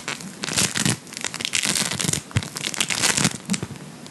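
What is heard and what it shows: A large lump of blue play foam, polystyrene microbead floam, is held up and squeezed and kneaded with the fingertips. Dense, crunchy bead crackle comes in bright bursts that swell and fade with each squeeze. A faint low thump sits under some of the louder presses.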